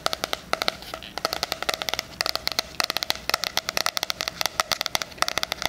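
Fingernails tap and scratch the front cardboard cover of a 'Life is Beautiful' 2020 spiral-bound hardcover planner held upright. About 38 sharp, bright, dry clicks come in quick, irregular bursts with almost no ring. Faint scratching fills the gaps between them.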